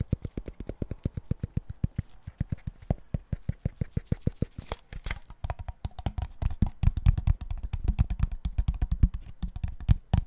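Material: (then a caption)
Plastic. Fingertips rapidly tap, scratch and squeeze the body and cap of a clear, thin-walled, empty plastic water bottle, held sideways and then upside down. The result is a fast stream of short, crinkly taps with dull, low thuds. The taps grow denser and louder in the second half.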